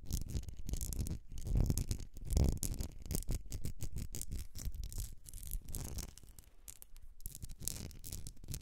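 Long nails scratch the etched sides of a medium glass candle jar filled with solid wax, held tilted. The result is a dense, uneven run of quick scraping strokes with a heavy low rumble, sharp high ticks, and brief louder swells. The scratching softens and thins out toward the end.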